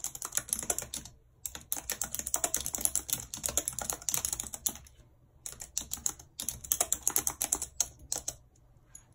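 Long red acrylic nails type rapidly on a full-size white plastic computer keyboard with a numpad and hollow keys, lying on a world map. Bright, clicky key taps come in quick runs, broken by a few brief pauses.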